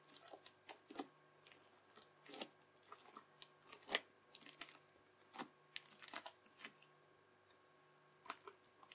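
A yellow plastic knife edge chops and presses ridges into a folded mound of translucent teal, bubbly crunchy slime. Short, bright crackles and crisp pops come in quick irregular bursts, each dying away almost instantly over a faint steady hum.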